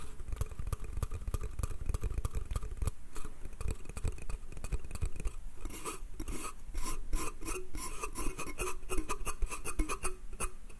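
Fingernails quickly scratch and tap the slats of a small, hollow, pine slatted wooden bath crate. Dry, rasping scrapes are mixed with a dense run of short, clicky taps over a heavy low rumble. The taps turn brighter and sharper in the second half.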